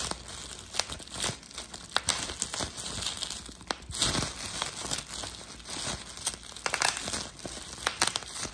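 A hand-held sheet of clear plastic bubble wrap with air-filled bubbles is pinched by a thumb, popping the bubbles. Sharp, bright pops and snaps sound at irregular intervals over continuous crinkling of the plastic sheet.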